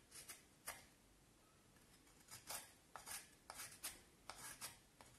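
A knife carves and scrapes the shaped end of a solid pale vine wood stick, producing short, bright, dry rasping strokes. The quiet scrapes come in separate bursts with brief gaps of near silence and little low-end weight.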